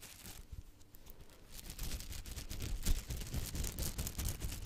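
Long nails and fingertips flick and scratch the soft bristles of a small yellow silicone kitchen pastry brush held close to the mic. The result is a quiet, rapid, irregular patter of soft ticks and rustling scratches with a low thumpy body and airy high crackle. It grows louder and denser after the first second and a half.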